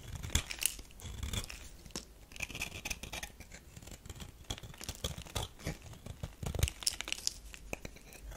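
A metal knife scrapes and cuts shavings from the surface of a solid tan bar of soap. Dense, crunchy scraping and crisp tearing textures repeat throughout, with bright hiss and occasional low thuds as the blade bites into the bar.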